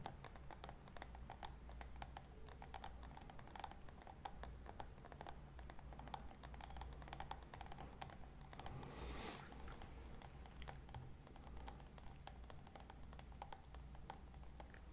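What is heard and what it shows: Long red nails rapidly tap and click on a small, glossy pink hard plastic case held in both hands. The clip is quiet, with a steady stream of short, dry, clicky taps over a low background hum. A brief scratchy brush sounds near the middle.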